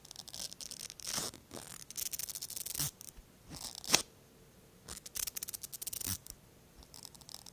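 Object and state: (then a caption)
Plastic mascara brush wand scraped. The bristle brush on the thin wand of a small pink plastic mascara tube is drawn through the fingers of the other hand, making bright, high-pitched scraping and brushing strokes. The bristly sweeps come in short bursts separated by quiet pauses, with one sharp click partway through.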